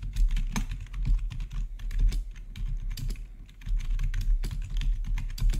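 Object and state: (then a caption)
Plastic keyboard typing. Fingertips of both hands rapidly type on a full-size black plastic RGB backlit gaming keyboard with a hollow housing, heard close-up. The result is a dense stream of quick, short taps, mostly low and thuddy with faint bright clicks, with a brief lull around the middle before the typing picks up again.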